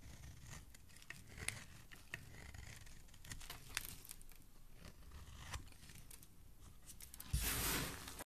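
A segmented metal utility blade shaves strips off the surface of a solid oval pink soap bar, with pink shavings piled below. Quiet, steady scraping and carving carries soft crackling and occasional crisp clicks. Near the end it swells into a louder, bright, sustained scrape.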